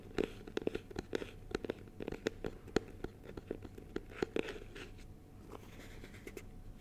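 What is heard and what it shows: A small, clear, rigid plastic box filled with honeycomb is held in both hands while fingertips and nails tap and scratch its plastic surface. Quick, sharp, dry clicks with a hollow midrange tone come in an irregular run over soft scratchy rustling. The taps fade into lighter scratching near the end.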